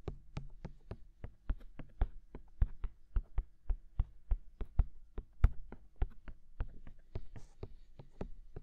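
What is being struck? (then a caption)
Silicone dummy ears of a binaural microphone. Fingertips tap both silicone dummy ears of a binaural microphone in a steady rhythm, about 31 taps in all. Each tap is a short, dull, low thump that stops at once with no ring. Faint brighter brushing marks a few of the taps.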